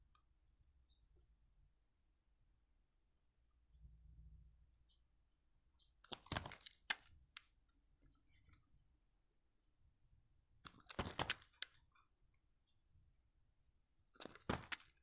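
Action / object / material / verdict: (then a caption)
scrape / dry soap bar / soap / none. A utility knife blade shaves along the edge of a palm-sized, solid, oval white bar of dry soap with an embossed logo, held in the fingers, with shavings lying below. Three bursts of crisp, bright scraping and crackling stand out, each with quick sharp clicks, separated by near-silence with a faint low hum and a brief soft low rumble.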